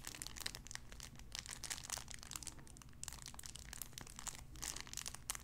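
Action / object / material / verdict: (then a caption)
scrape / cellophane wrapper / cellophane / none. A clear cellophane wrapper around a small sun-shaped figure is squeezed and crinkled, giving a dense stream of bright, sharp crackles and crunches. The crinkling comes in uneven bursts that swell and fade over a steady low hum.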